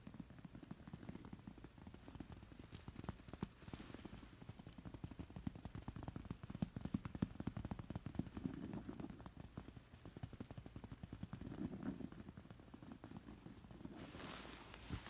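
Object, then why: Stuffed woven fabric pillow. Long nails scratch and tap a stuffed, long bolster-style pillow covered in thick woven zigzag-pattern fabric. The result is a steady stream of dense, dull, crackly scratches with quick taps mixed in. The sound is mostly low and muffled, with very little high-end hiss, and each tap dies away almost instantly.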